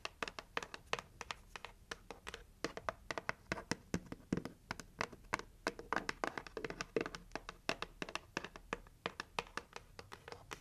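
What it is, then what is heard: Cardboard gift box tapped and scratched with fingernails. Long nails tap and scratch the lid and rim of a hollow red heart-shaped cardboard gift box. Quick, dry taps with a hollow, papery tone come in an irregular stream, mixed with soft scratching between them. Each tap dies away almost instantly.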